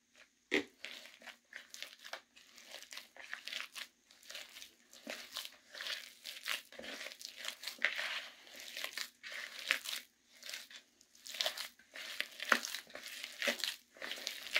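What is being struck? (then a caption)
Gym chalk paste in a plastic bucket. Fingertips dig into thick, damp, crumbly blue gym chalk paste in a plastic bucket, squeezing and crushing it over and over. Quiet, bright, crunchy crackles and crinkly bursts come in a steady uneven run with short gaps, with no low end and almost no ring after each crush.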